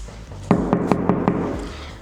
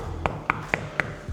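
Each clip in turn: First: hollow drywall partition wall. Second: solid concrete wall.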